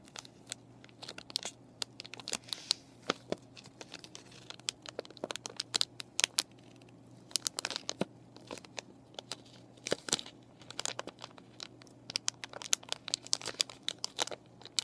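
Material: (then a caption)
Plastic. Long nails scratch and crinkle a clear plastic paintbrush package with a cardboard backing and brushes inside as it rests on a table. The result is a dense run of sharp, dry, bright crackles and ticks with no ring, over a faint steady low hum.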